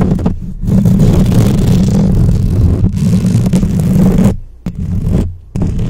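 Long acrylic nails on both hands quickly scratch the hollow metal mesh head of a black microphone. The result is a dense, continuous, boomy scraping rumble, heavy in the low end, broken by a few brief drops in level near the end.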